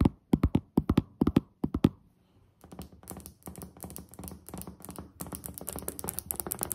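Both hands with long nails tap on a solid white glazed ceramic tile countertop. A few loud, separate taps come first, then a short pause. After that, faster and quieter clicking tapping builds into a dense, continuous run.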